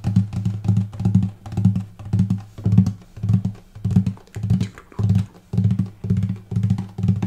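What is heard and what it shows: Fingertips tap the upper bout above the bridge on the light spruce top of a hollow wooden acoustic guitar, with the strings not plucked, though they may ring slightly. A steady series of soft, dull knocks repeats in a loose rhythm, each giving a low, hollow body thump that fades quickly.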